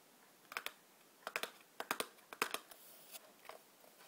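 Long black nails tap and scratch the top and sides of a small, hollow cardboard matchbox standing upright on a white table. Crisp, dry clicks land in quick pairs and clusters, bright and papery with almost no low end, and each dies away almost instantly. Soft scratching hiss fills a few of the gaps between the taps.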